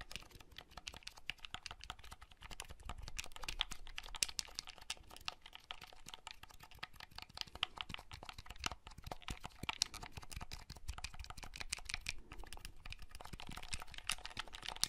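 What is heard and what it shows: Fingertips press the buttons of a small, hollow red plastic clamshell folding handheld console held up in the hand, and handle its shell. The result is a steady stream of quick, dry, bright plastic clicks and taps, close to keyboard typing. Each one is sharp and dies away almost instantly, with no ring.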